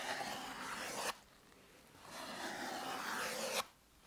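Fingers rub and scratch the surface of a blue EVA foam exercise roller held horizontally against the chest. Two bursts of dry, hissy scraping are heard, each bright and broadband with almost no low end, and each cuts off abruptly into near silence.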